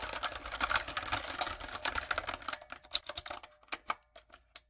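Long coffin nails and fingertips type on a backlit, typewriter-style mechanical keyboard with round retro plastic keycaps and a hollow plastic body. A fast, dense run of bright, clicky clacks fills the first two and a half seconds, then thins out into slower, separate sharp taps that stop short with almost no ring.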